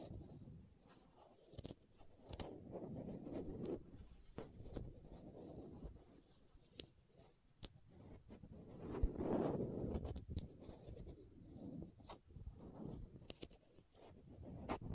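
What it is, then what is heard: Plastic contact lens case. Long nails scratch a small, hollow green and white plastic contact lens case held near the microphone and twist its screw lids. A soft, low, scratchy rustling runs throughout, broken by quick sharp clicks and ticks. It swells briefly into a louder grinding twist partway through.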